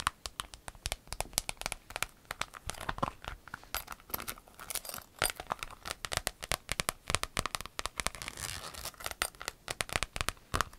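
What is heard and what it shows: A large, flat, rainbow-striped clear vinyl pencil case with metal grommets, empty and hollow, is handled and crinkled by hand with long acrylic nails. Dense, bright crinkling and crackling comes through with quick, sharp clicks and taps that stop dead with no ring. The sound forms an irregular, rain-like patter of many short bursts.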